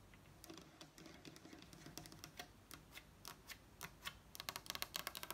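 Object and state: Wooden table top tapped with nails.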